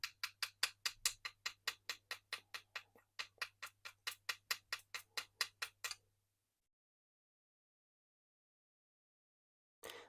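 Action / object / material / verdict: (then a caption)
strike / metal fishing jig with resin coating / metal / flaked. A metal fishing jig finished with a single coat of UV resin lure coating is struck repeatedly with pliers to test the coating, giving about 28 quick, bright metallic taps over six seconds, followed by silence and a short burst of noise at the very end. The coating flaked off and peeled, and the base paint underneath was scratched.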